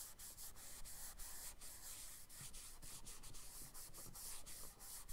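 A charcoal stick is dragged across a page of a spiral-bound brown kraft paper sketchbook lying flat, in sweeping rubbing strokes. The result is a quiet, continuous, dry scratchy rub with bright hiss, broken by brief dips between strokes.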